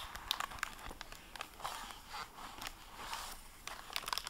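Fingertips and long painted nails handle the gold, plastic-covered dust jacket and paper pages of a medium-sized, solid hardback library book lying open on a wooden table. Bright, dry crinkles and crackles of the plastic jacket mix with soft page rustling, with small sharp ticks scattered throughout and no ring afterward.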